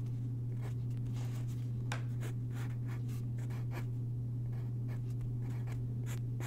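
A graphite pencil sketches on a single white paper sheet lying on a wooden desk, its tip scratching across the paper in quick, brushy strokes. The scratches sit over a steady low hum that dominates throughout.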